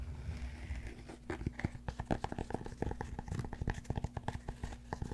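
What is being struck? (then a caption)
Cork yoga block. Fingernails scratch and fingertips tap the surface of a large solid cork yoga block close to the mic, making a rapid string of soft, dry, crinkly taps and short scratches. Each hit is brief and muffled, mostly low with little brightness, over a faint steady low hum.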